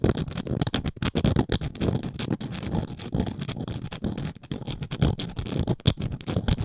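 Long nails scratch and tap across the engraved text and dots on the side of a round, flat wooden coaster. The result is a dense, fast run of dry, close scratches and short taps, mostly low and dull in tone with a faint bright edge on the sharper strokes.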